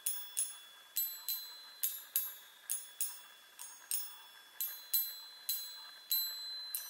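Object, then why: Small metal tube chime on a wooden frame. Long nails tap the hollow metal tubes of a small handheld chime mounted on a wooden frame, striking fourteen quick, uneven notes. Each tap gives a bright, high metallic ping with a short ring that fades quickly, at a soft level with no low end.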